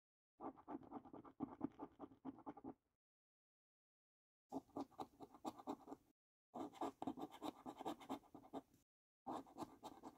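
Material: Paper.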